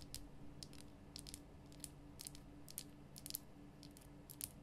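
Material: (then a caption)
Rock salt. Long nails tap quickly along the rough sides of a large, glowing pink Himalayan rock salt lamp, a solid salt block. Each tap is a short, dry, bright click with almost no ring, scattered unevenly across the clip. A quiet, steady low hum runs underneath throughout.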